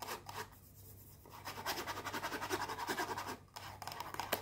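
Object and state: Cardboard perfume box scratched with fingernails.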